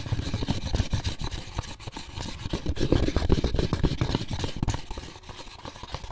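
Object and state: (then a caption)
Empty molded pulp egg carton. Fingertips and short nails scratch and tap the lid and paper label of an empty, closed, white molded paper pulp egg carton. The hollow carton gives a fast, irregular run of dull, low, boomy taps mixed with soft scratching, with very little brightness. It rises toward the middle and eases off near the end.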